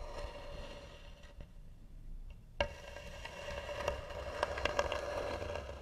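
Long nails scratch the lid of a hollow, tan carved wooden box, making a dry, rasping scrape with a steady mid-range tone. The scratching is soft at first, nearly drops out briefly, then returns louder and rougher with sharp catches toward the end.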